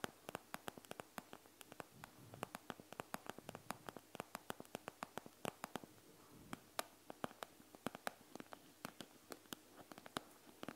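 A hand with long nails taps and scratches the clear plastic front of a panda gel bead eye mask, made of plastic filled with gel beads. Around fifty quiet, sharp, bright clicking taps land in quick, irregular succession, with soft scratchy rustling between them.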